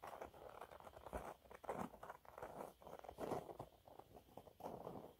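Fingernails scratch a thin, flat, yellow textured cellulose sponge cloth. The result is a quiet series of soft, dry, uneven scratching bursts, centered in the low-mid and midrange with almost no bright top end. Each scrape dies away quickly.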